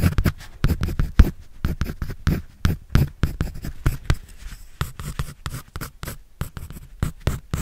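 A pencil scratches and draws across a white paper sketch pad held in the hand. A rapid run of short, dry scratching strokes comes with a dull, thumpy low weight and almost no ring after each stroke.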